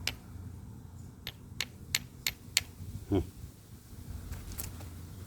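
A run of sharp, bright clicks rings out as a Clovis-style prismatic flint core is worked while its platform is prepared, each contact dying away almost at once over a low background hum. Seven distinct hits are heard, and the core is judged to sound solid, taken to mean the stone has no internal cracks.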